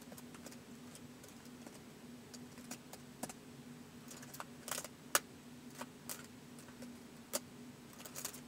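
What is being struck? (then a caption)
Plastic laptop keyboard keys. Fingertips slowly type on the plastic keys of a white polycarbonate laptop resting on carpet. Sparse, short, bright clicks sound at an unhurried pace, a few sharper than the rest, over a faint steady low hum.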